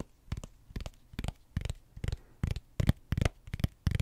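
The back of an iPad-sized tablet in a thick blue rubbery silicone case, a hollow flat shell, is tapped and scratched with fingertips and short nails close to the mic. Soft, dull, low thumps come in quick irregular clusters, each with a brief scratchy, bright edge. They die away almost instantly with no ring.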